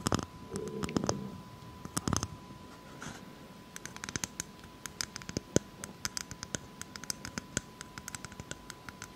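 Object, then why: Whole brown coconut with fibrous husk. Long acrylic nails scratch and tap the hard, fibrous husk of a whole brown coconut. A low, rough scratching opens the clip and returns near the two-second mark, then dozens of short, dry, bright taps and clicks follow, scattered unevenly with almost no ring. A faint steady tone hums underneath throughout.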